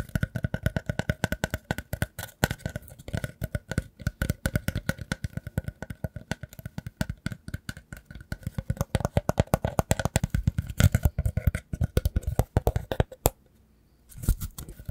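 A light, hollow, round woven rattan or wicker ring with a hole in the center is scratched and tapped with fingertips and nails. It gives a dense, rapid stream of short, dry clicks and soft low thumps with scratchy rustle between them. Near the end there is a brief pause before the tapping resumes.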